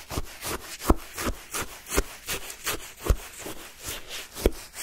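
A wooden stick stabs down into a paper cup of pale yellow shaved-ice sherbet and scrapes up the crushed ice. It makes a steady series of crisp, gritty crunching strokes with bright hiss, and a few strokes land with a heavier low thud.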